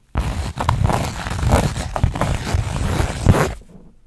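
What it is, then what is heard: Burlap fabric pouch being scratched. Long nails scratch the woven surface of a flat linen or burlap fabric pouch held up front, making a rough, raspy scraping with a dull low body. The scratching runs in uneven stop-and-start strokes for about three and a half seconds before fading out.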